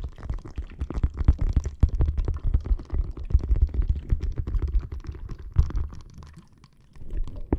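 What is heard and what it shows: Long nails scratch and tap a clear plastic bag full of red gel water beads resting on a microphone. Dense, irregular squelching crackles and quick dull taps sit almost entirely in the low end with no lingering ring. The sound fades to near silence around six to seven seconds before picking up again.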